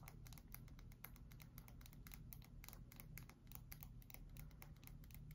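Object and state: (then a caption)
Bar of soap tapped with fingernails. A pale cream, palm-sized solid bar of soap is held in both hands and tapped and scratched with long white acrylic nails. The result is a quiet, rapid stream of short, dry clicks and light scratches with bright, crisp edges. A steady low hum runs underneath throughout.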